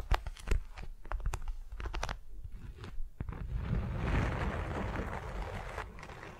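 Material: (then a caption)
Waxed cotton. Long nails and fingertips tap and scratch a flat, patterned beeswax-coated cotton wrap laid over a soft furry mat. Sharp, crinkly taps and crunches come at an uneven pace in the first few seconds, then give way to a steady, muffled scratching rustle that fades slightly at the end.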